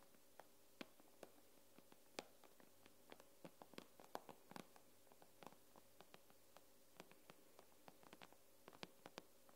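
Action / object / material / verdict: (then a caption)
tap / tablet glass screen / glass / none. Long nails tap the glass screen of an iPad in an irregular, scattered rhythm of sharp, very short clicks. Each tap is bright and dry with almost no ring, heard over a faint, steady low hum.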